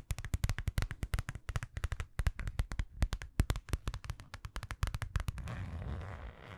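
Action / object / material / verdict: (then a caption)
tap / small metallic vinyl zipper pouch / vinyl / none. A small, flat, hollow holographic metallic faux-leather zippered pouch, apparently empty, is held up in the hands and tapped rapidly with long nails. The result is a fast run of short, dry, low thumpy taps with crisp clicky tops. It ends in a softer, continuous scratching rustle as the nails drag across the surface.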